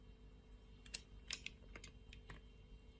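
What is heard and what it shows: A utility-knife blade scores and shaves a solid red translucent soap bar, held in a hand with long nails, into small cubes. About eight short, crisp, bright scraping clicks come at an irregular pace over a faint low hum, each dying away almost instantly.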